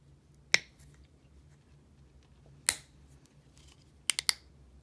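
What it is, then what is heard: Plastic bottle with flip cap. Long nails flick the turquoise flip cap of a small clear plastic micellar water bottle, with liquid inside, open and closed and tap the bottle. Five short, bright clicks are heard, one near the start, one mid-clip and a quick cluster of three at the end. Each dies away almost at once over a faint low hum.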